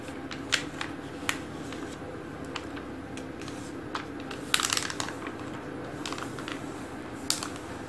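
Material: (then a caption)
Glossy paper. Fingertips and short painted nails quickly rub and trace the thin, solid pages of an open glossy paper magazine lying flat on a wooden table, with some page flipping. Soft papery scratching sits over a steady hiss, broken by sharp, bright taps and rustles that die away almost instantly.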